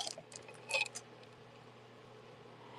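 Glass tube beads on a necklace are clinked together, giving bright, short clicks with a clear ringing tone near 2.5 kHz, loudest around the middle of the first second. The clinks confirm the beads are real glass.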